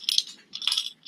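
A rope-wrapped ceramic heart from a mystery box is shaken, and loose hard objects inside rattle in short, bright, glassy clicks with no low end. The loose contents turn out to be human teeth.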